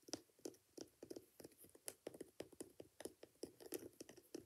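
A single hand-held Dr Martens-style ankle boot, hollow and empty, with a coarse multicolour glitter upper and a thick black rubber sole with yellow welt stitching, is scratched and tapped by fingertips and nails along the rough glitter and the rubber sole edge. About twenty quiet, dry, quickly damped taps follow one another in an irregular run, each carrying a crisp, gritty high-frequency scratch over a soft hollow knock.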